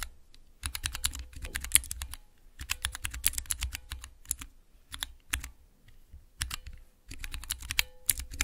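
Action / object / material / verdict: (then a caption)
tap / clear plastic keycaps on mechanical switches / plastic / none. Long nails tap and press three tall translucent plastic keycaps on a clear plastic mechanical keypad with Cherry MX switches. Bursts of rapid, bright, crisp clicks land over low, soft thuds, separated by brief pauses. Each click is short and dry, with almost no ring.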